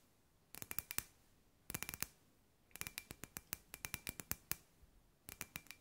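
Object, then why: Glass ball lamp. Long grey nails tap a hand-sized, hollow clear glass ball lamp with LED fairy lights inside. Twenty-five quick, bright clicking taps come in short bursts separated by brief pauses. Each tap ends almost instantly, with a faint glassy ring near 2.4 kHz.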